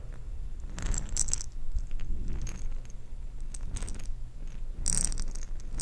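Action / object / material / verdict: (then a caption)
shake / glass jar with plastic beads / plastic beads / none. A glass jar of plastic perler beads is handled and shaken, giving bursts of bright, high rattling and clinking over a low steady rumble. The bead rattles come in several separate clusters across the clip.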